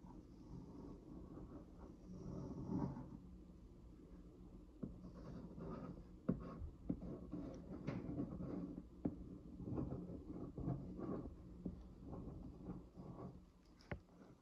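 The tip of a retracted ballpoint pen is traced across the printed logo on the flat, printed white paperboard lid of a hollow Metro Fresh 2 Go food box, its contents not visible. The pen makes a light, scratch-like dragging sound: soft, dull rubbing strokes sitting mostly low, broken by occasional sharp little ticks as the tip catches on the surface.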